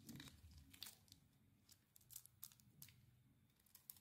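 A dry, hand-sized, solid rectangular white "Nature" soap bar is held in one hand and carved with a thin metal blade, shaving off crumbly flakes. Quiet, crisp scraping and crunching strokes come in an irregular series of bright, short bursts over a soft low background rumble.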